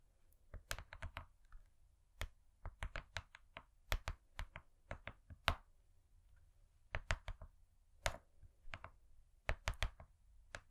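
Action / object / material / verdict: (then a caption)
tap / foil-laminated cardboard cake board / cardboard / none. Long nails and fingertips tap on a thin, flat, gold-laminated cardboard cake board. Crisp, dry clicks come in irregular quick bursts with short pauses, each with a soft low thump beneath a bright tick. The taps die away almost instantly.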